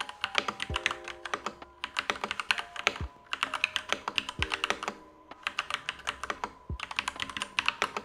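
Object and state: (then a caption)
Mechanical keyboard typing. Fingertips of both hands type continuously on a full-size, unmodded Next Time 75 mechanical keyboard with Gateron Yellow switches, black plastic keycaps and a light-grey case resting on a desk mat. Each key is pressed and bottomed out, producing a steady stream of short, bright clacks with almost no ring and little low end.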